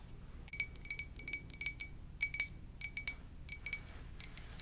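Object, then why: Ceramic mug. A white ceramic mug with black lettering is held on its side in both hands and tapped with long purple nails. About nineteen light, irregular clicks each give a short, bright, glassy ring with a steady tone near 2.3 kHz, over a faint low rumble.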